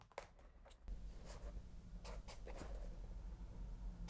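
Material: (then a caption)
Paper. A felt-tip pen scratches across the paper of a spiral-bound notebook with a cardboard back resting on a lap, making short bright strokes over a steady low rumble that grows louder after the first second. At the end the pen lifts and the hand rests on the page.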